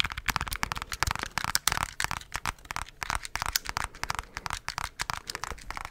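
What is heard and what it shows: Fingertips tap rapidly over the keys and body of a handheld black plastic scientific calculator. The result is a dense, irregular run of short, dry clicks and crinkly taps. They sound bright and crisp, die away almost instantly, and rise and fall in small bursts.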